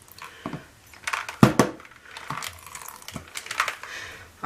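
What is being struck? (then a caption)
Small container holding a metal nut and bolt. A small container holding titanium dioxide and a metal nut and bolt is shaken to mix it. The nut and bolt rattle inside in uneven bursts of short, sharp clattering knocks with little ring.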